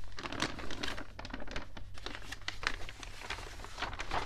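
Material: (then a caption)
Paper. Palms press and rub the thin pages of an open, water-damaged newspaper at its stock listings page, and fingers grip and turn a page. A dense run of soft crinkling and rustling crackles plays over a steady low hum, with brighter crinkles popping out now and then. The paper gives a continuous, papery texture with no ringing after each touch.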